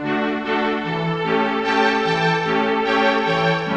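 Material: Nothing is struck.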